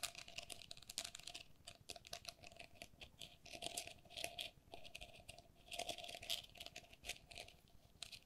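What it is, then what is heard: Plastic lattice pen cup. Long nails tap and scratch the walls of an empty, hollow pink perforated plastic lattice pen cup held in both hands. The result is a dense, quiet patter of short, bright clicks and scratchy rasps with a faint hollow tone near 690 Hz. The clicks stop almost at once, and the taps swell in bursts.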